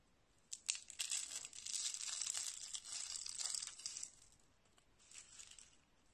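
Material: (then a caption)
Soap. A small hollow spiral roll of thin, cream-coloured dry soap shavings is squeezed and crushed between fingertips with dark painted nails, with other rolls lying on a wooden table. It gives bright, dry crackling and crunching, with sharp snaps and a dense stretch of crinkling that fades into a softer crackle near the end.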